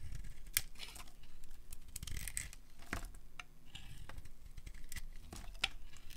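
A solid rectangular bar of dry pinkish soap, decorated with red and green glitter, is held in the hand and carved with a metal utility blade, peeling off thick curls. Repeated dry, crisp scraping strokes and sharp crackling snaps come through with a bright, high edge over a low, steady rumble. Each cut stops short with almost no ring.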